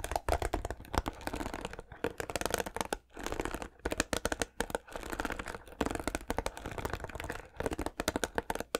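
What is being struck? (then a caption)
Plastic paddle hairbrush. The bristles of a white plastic paddle hairbrush are strummed with fingertips and nails, producing rapid dry plastic clicks and flicks in dense bursts separated by brief pauses. Each pluck is short with almost no ring, over a faint low hum.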